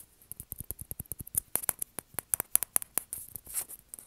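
A small, hollow, white plastic ping pong ball held between the hands is tapped and scratched with fingernails. About sixteen quick, dry, bright clicks ring out with almost no ring, mixed with brief rustling scratches near the end, at a quiet level.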